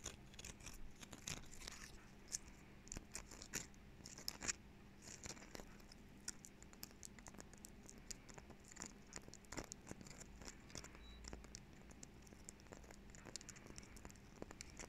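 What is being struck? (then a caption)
Woody pine cone. A small, dry brown pine cone is held in both hands close to the mic while fingertips and nails rub and scratch its rigid woody scales. The result is a quiet, steady stream of dense, crackly scratching with many sharp, bright clicks, over a faint low hum.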